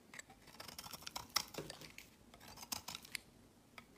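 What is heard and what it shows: A utility knife blade shaves a solid, translucent, olive green rectangular soap bar into crumbly curls. The result is a quiet, bright series of crisp scraping crackles and sharp little clicks that die away almost instantly, with very little low end.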